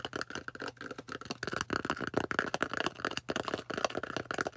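Long orange nails tap and scratch the flat face of a thick, solid, plate-sized white polystyrene foam disc. Rapid, dry taps with almost no ring blend with gritty, squeaky scraping that sits mostly in the midrange.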